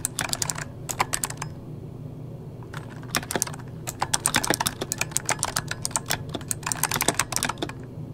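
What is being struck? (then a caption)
Mechanical keyboard with plastic keycaps. Fingertips of both hands type on an RGB-backlit mechanical keyboard with plastic keycaps. Quick bursts of sharp, bright clacks come in rapid runs over a low steady hum, with a short pause early on before the typing picks up again and keeps going.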